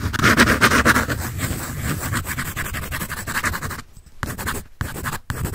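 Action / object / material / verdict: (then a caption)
scrape / graphite pencil on drawing paper / paper / none. A graphite pencil scratches and shades across a large sheet of white drawing paper on a sketch pad with a red back cover, held upright. The strokes make a dense, rapid, raspy scratching with a bright papery hiss. They continue steadily, then break into short bursts with brief silent pauses near the end.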